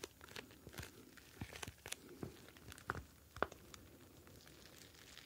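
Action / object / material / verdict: scrape / clear plastic pouch filled with gel beads / plastic / none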